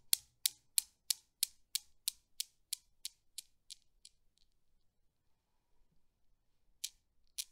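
A desktop Newton's cradle with solid steel balls, swung by hand, clacks in a steady series of sharp, bright clicks that grow gradually quieter and fade out. After a short quiet pause, two more crisp clacks sound as it is set going again.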